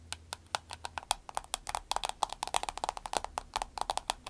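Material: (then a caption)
Vinyl. Long acrylic nails tap rapidly on a soft green vinyl glasses case resting on a table. The result is a fast, uneven stream of about 28 short, dry clicks with a bright, crisp edge and a mid tone near 800 Hz, each one dying out almost instantly.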